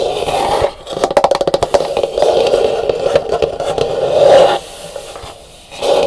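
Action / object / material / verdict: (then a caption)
scrape / dried calabash gourd bowl / dried gourd / none. Long nails tap and scratch the rough outer shell of a large, hollow, dried calabash gourd bowl resting upside down and empty. A quick burst of sharp, dry taps gives way to a steady raspy scratching with a woody, hollow midrange tone. The bowl is then lifted and its edge is scratched.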